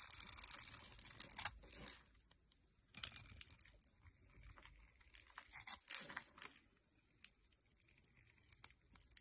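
A metal knife cuts and scrapes small cubes off a hand-held, solid light blue soap bar scored in a grid, and the cubes crumble away. Bright, crisp scraping and crunching comes in bursts with quiet gaps between them, and there is little low end.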